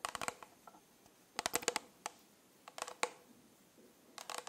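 Fingernails tap and scratch the studded sides of a rhinestone-covered plastic tumbler with a pink lid. The result is quick, bright clicky bursts in clusters separated by quiet gaps, each tap dying away almost instantly.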